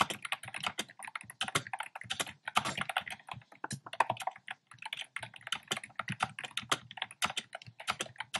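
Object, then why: Plastic computer keyboard with round keycaps. Fingertips type quickly on a black plastic keyboard with hollow, round, pastel retro keycaps. The result is a rapid, uneven stream of short, bright, clacky key taps that stop dead with no ring between strokes.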